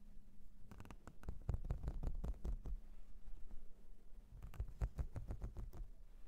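A flat, whale-shaped blue silicone makeup brush cleansing mat with a ridged and nubbed texture, held up in the hand, is scratched and tapped with long blue nails. It gives a rapid, uneven series of soft, dull taps and scratchy rubs, heavy in the low end, each dying away almost at once over a faint steady low hum.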